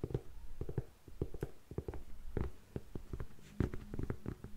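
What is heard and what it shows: Long nails tap the block heel of an empty grey faux suede lace-up heeled ankle boot and scratch its upper. The result is a quick, uneven series of dull, low, muffled taps with very short decay, mixed with soft scratching.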